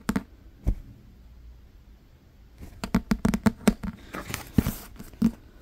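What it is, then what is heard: Leather-covered book. A thick, solid black Holy Bible with a leather or imitation-leather cover is tapped and scratched on its cover with fingertips and nails. About fourteen short, dull taps are heard: a few at the start, a pause, then a quicker run mixed with light scratching. Each tap is a soft low thud with no ring.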